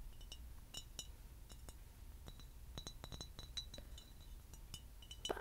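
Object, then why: Glass bottle. A tall, clear, empty glass bottle, hollow and held in hand, is tapped along its side with fingernails and rings. The result is a quiet series of light, bright clinks and ticks that ring only briefly, with a faint high ring on some taps. A soft, low background hum runs underneath throughout.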